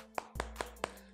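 The polycarbonate plastic back panel of a Poco X3 NFC smartphone is knocked in a quick series of short, sharp taps with a hollow mid-range tone and almost no ring, over a faint steady hum. The back feels thin, with a gap or cavity behind its middle when pressed, and it sounds different from the Realme 7 Pro's back.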